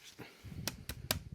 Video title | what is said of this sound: MOINS DE 50€ : La RADIOLINK RC4GS fait-elle MIEUX que la DUMBO RC DDF350 ? | en terme de fabrication par contre ça sonne plastique creux